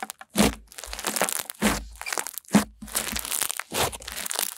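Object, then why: White snow-textured slime. White snow-textured slime is spread flat and pressed with long-nailed fingers, then gathered and squeezed in cupped hands. It gives repeated bursts of bright, crisp crackling and crunching over a soft low squish, with short quieter stretches between the stronger presses.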